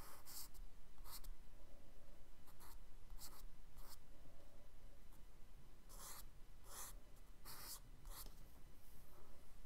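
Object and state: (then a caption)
Kraft paper sketchbook. A charcoal stick is scratched and rubbed across the tan kraft paper page of a spiral-bound sketchbook lying flat on a dark table. Short bright, dry scraping bursts come in an uneven rhythm over a steady low rumble.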